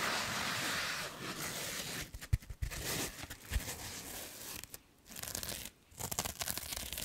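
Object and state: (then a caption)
Foam sponge. Long nails scratch and rub a hand-sized, solid, soft blue foam sponge with a textured side. It starts as a steady, bright, dry scratching hiss, then breaks into irregular crinkly rubbing bursts with a few sharper thumps. Two brief near-silent pauses come before the scratching resumes.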